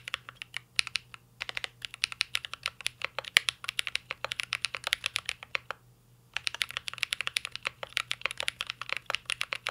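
A mint-green Cyberboard R3 mechanical keyboard with a metal case and plastic keycaps is typed on continuously with the fingertips. It produces rapid, crisp, bright clacking taps with almost no ring, with a brief pause near the six-second mark before typing resumes.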